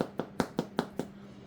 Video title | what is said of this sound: Jacob how I make bread | Hollow sound ... that's what you're looking for